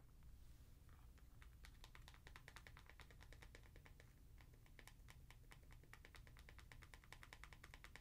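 Long nails tap quickly on the heel of an Adidas NMD sneaker, hitting its white foam Boost midsole and plastic heel plug. The result is a fast, steady run of light, crisp clicks over a quiet, low background hum.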